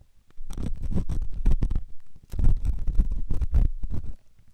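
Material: Silicone.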